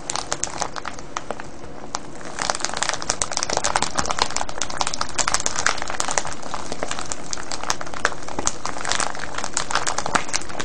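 Fingertips and short nails squeeze and scratch a clear cellophane gift bag full of small foil-wrapped sweets, tied with a yellow ribbon and a red paper tag, lying on a wooden table. Dense, bright crinkling and crackling snaps come in rapid, irregular bursts, quieter for the first couple of seconds and then louder and steady to the end.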